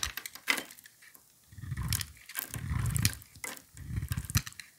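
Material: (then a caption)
Soap. A utility knife blade shaves thin strips from a solid, cream-colored oval bar of soap held in a gloved hand, making scraping cuts. Light, bright crackly ticks are followed by three longer scraping passes with a low, rough rumble and crisp high edges.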